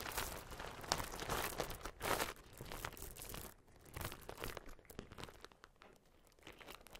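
Fingers with long nails lift and rake through a pile of red metallic plastic bead-necklace strands, producing a dense, bright clatter of crinkly rustles and small clicks. The sound is busiest and loudest in the first few seconds, then thins into softer, scattered ticks.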